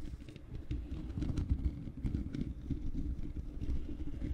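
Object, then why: Metal mesh microphone grille. Long painted fingernails of both hands scratch the bare black metal mesh grille of a large hollow microphone. A dense, low rumbling scrape with many quick, uneven strokes fills the clip, heavy in the bass with faint bright ticks above.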